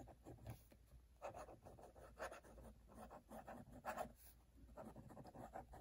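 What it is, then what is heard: Paper notebook page written on with a dip pen. A metal-nib dip pen scratches across an open cream paper notebook page marked with red wax seals, writing cursive lines. Quiet, dry scratching strokes come in short bursts with brief pauses between them, mostly midrange with little brightness. A faint low rumble sits underneath throughout.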